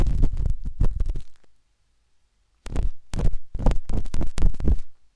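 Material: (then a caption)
Silicone. A metal-tipped dot stick with a wooden handle scratches inside the soft, hollow canal of a binaural microphone's pinkish-white silicone ear. The result is a run of quick, muffled, deep scraping and tapping sounds. They come in two bursts separated by a silent gap of about a second.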